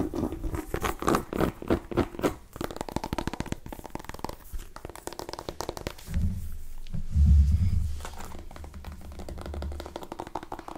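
A small, hollow, cream-and-orange striped mini pumpkin with a dried stem is scratched and tapped with long nails. Quick, dull, hollow taps and clicky scratches come first, then rough scraping with a deep, rumbling low end. The sound is mostly low and muffled, with very little bright content.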